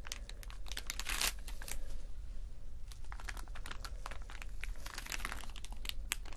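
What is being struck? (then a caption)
Plastic sticker sheet with acrylic rhinestones. A clear plastic sticker sheet lined with rows of small acrylic rhinestones is scratched and tapped with short fingernails. Quick, dry crinkling clicks and scratches come in dense, uneven bursts over a steady low rumble, with bright, sharp attacks that stop almost instantly.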